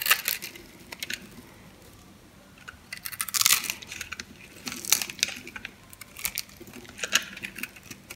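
A metal knife blade cuts through the grid-scored surface of a solid light-blue soap bar held in the palm, carving and crushing it to break off small cubes. Bursts of crisp, bright crackling and crunching come in clusters, separated by quiet pauses, with almost no low end.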